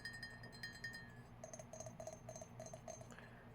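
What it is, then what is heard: Mug. A Batman mug from Six Flags, whose print peeled off after a single wash, is tapped in a quick series of light clinks. The first taps ring with a bright tone near 1.8 kHz, and later, faster taps give a duller, lower clink. Each tap decays within about half a second.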